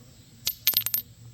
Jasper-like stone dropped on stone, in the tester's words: if you drop it on stone, it sounds like glass, it's usually a really good sign